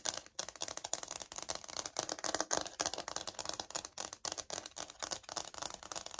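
Long nails scratch and tap the surface of a light oak laminate wood-look floor sample held upright. The result is a dense stream of quick, dry clicks and bright scratchy rasps, with almost no low end and no ringing after each tap.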